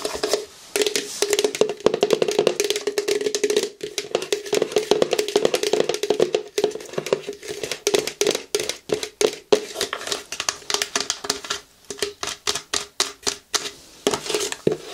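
Long nails tap rapidly on the label side of a large, hollow, blue translucent plastic mouthwash bottle held horizontally. A dense run of quick, dry clicks with a bright edge carries a hollow midrange tone from the bottle, and each tap dies away almost instantly. The taps grow sparser and more spaced out toward the end.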